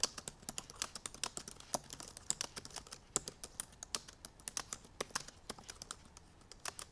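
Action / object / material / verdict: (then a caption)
tap / laptop keyboard, plastic keys / plastic / none. Long purple nails and fingertips type rapidly on the black plastic keys of a silver aluminum MacBook Pro laptop. A quick, uneven run of sharp, bright clicky taps comes in bursts, each dying away almost instantly, with little low end.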